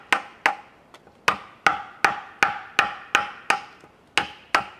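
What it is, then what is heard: Cedar log being carved with mallet and chisel. A wooden mallet strikes a chisel carving into a large solid cedar log resting on a wooden sawhorse outdoors. Eleven sharp, hollow wooden knocks and chops land at an uneven pace, with a few softer taps between them. Each knock has a clear mid-pitched tone and a bright edge, and it dies away almost at once with no low thud.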